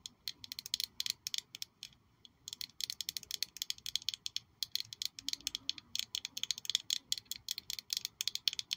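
A small black glossy glass perfume bottle shaped like a high-heel shoe with a red sole is held in one hand and tapped and scratched with long nails. The result is a quick, uneven run of sharp, bright clicks with almost no ringing and no low end, with a brief pause near the two-second mark.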